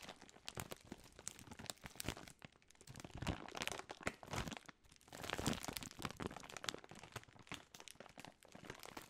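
A large Jolly Rancher bag of plastic film, full of wrapped hard candies, is crinkled and shaken in the hands, with fingertips and long nails working over the film. Dense, bright crackling and rustling comes in uneven bursts, with short sharp crunches as the candies shift inside.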